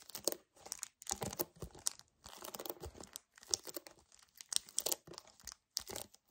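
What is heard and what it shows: A hollow 1 L white paperboard kefir carton is tapped rapidly with fingernails and gripped with both hands. The result is a dense run of quick, dry crinkling and crunching taps with a bright, crisp top and almost no low end. The taps come in short bursts separated by brief silent gaps.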